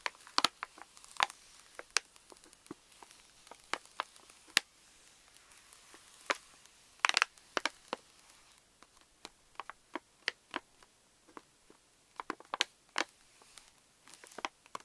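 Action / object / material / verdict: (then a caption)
tap / plastic foil laminate candy pouch / plastic foil / none. Long nails tap and scratch the front of a pink Reese's pouch made of plastic foil laminate, full of candies and resting on a table. The result is a steady run of sharp, dry, bright crinkles and clicks with almost no low end or ring, scattered across the clip with brief clustered bursts.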